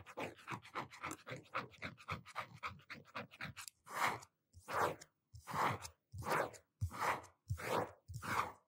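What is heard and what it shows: Fingertips and nails tap and scratch the front of a blue hardcover notebook with a cardboard cover, held upright and steady with both hands. A quick run of light, dry taps gives way to seven longer, hissing scratch strokes across the cover.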